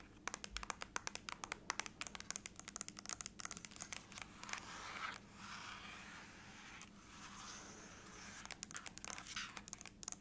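Long acrylic nails tap and scratch the lid of a closed silver aluminum laptop resting on a lap, its thin, hollow shell answering each touch. Rapid bursts of sharp, bright clicks give way in the middle to a steady, breathy scratching and rubbing, and then the quick tapping returns at the end.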